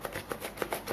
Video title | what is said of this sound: Penggunaan Poslaju Dalam Bisnes Online | Kalau ada bunyi macam ni, kemungkinan besar kalau hantar pakai pos laju, kemungkinan besar untuk rosak tu adalah.